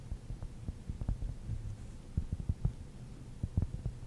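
A large rounded cork ball is scratched and tapped with long nails and fingertips close to the microphone. The result is a quiet run of soft, muffled low thumps and dull scratching with almost no ring or brightness.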